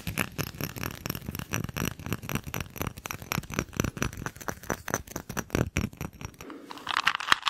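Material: Glass.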